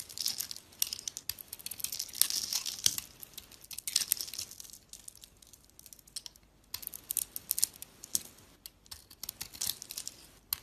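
A solid soap bar with a blue outer layer and a white inside is held in the hand while a box-cutter blade carves and scrapes crumbly chunks off it. The sound is dry, bright, crisp scraping and crackling crumbles, coming in bursts of dense strokes separated by quieter pauses, with almost no low end.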